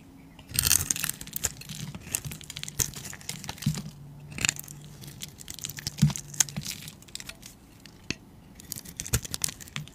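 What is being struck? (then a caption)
Bar soap cut with a metal blade. A metal utility blade carves and scrapes layers of cubes and shavings off a solid, rounded, palm-sized cream bar of soap held in the hand. Bright, crisp scraping and crunchy cuts come in bursts, loudest near the start and again around the middle, over a faint low hum. Between the bursts there are quieter, sparse clicks and light shaving sounds.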